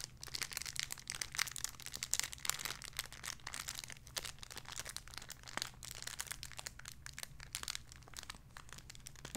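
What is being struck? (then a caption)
Thin plastic bag holding a soft toy. A small clear plastic bag holding a soft pink squishy toy is crinkled and scratched with fingertips and long red nails. Dense, bright crinkling and crackling continues throughout, with quick scratchy bursts over a faint steady low hum.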